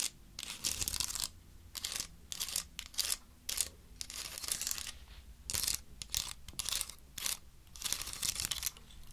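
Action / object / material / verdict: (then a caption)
scrape / woody pine cone scales / wood / none. A large, dry, woody pine cone has its scales scratched and rubbed with long nails. The result is bursts of bright, crackly scraping and dry clicking that come in uneven clusters with short quiet gaps, and there is almost no low end.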